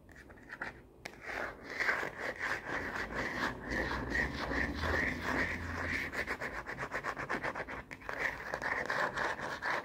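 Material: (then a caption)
Plastic. Fingernails rapidly scratch and rub across the printed back of a plastic phone case with a black bumper, fitted on a smartphone. A dense, uneven run of dry, bright scraping strokes continues for about ten seconds, centred on a raspy midrange band around 1.5–2 kHz.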